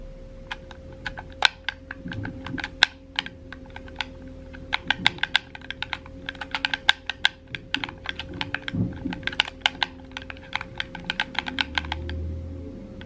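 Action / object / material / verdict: tap / plastic game controller / plastic / none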